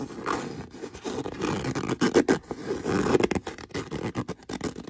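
Fingernails scratch the surface of a brown stitched leather boot, making a dense run of rough, rasping scrapes. The sound sits mostly in the low-mid range, with some brighter hiss. It comes in uneven bursts that grow louder and choppier in the second half.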